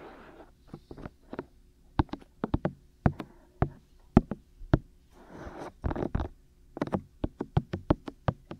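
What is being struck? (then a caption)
Silicone ear shells of a binaural microphone. Fingertips tap directly on the two hollow, hand-sized white silicone ear shells of a 3Dio binaural microphone. Short, dull knocks with a low thump and quick click tops come in an uneven rhythm, some spaced apart and some bunched in quick runs. Soft, brushing rustle fills the gaps at the start and around the middle.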